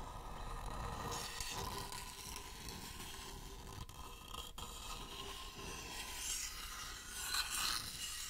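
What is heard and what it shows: Fingertips scratch and tap the outer side and rim of a shallow, hollow wooden bowl held up close. Steady dry, bright scraping and rubbing with soft tapping and a faint hollow tone, with a few louder brushes near the end.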